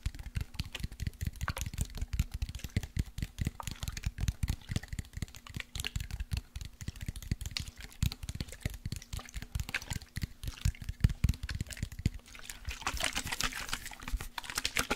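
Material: Glass.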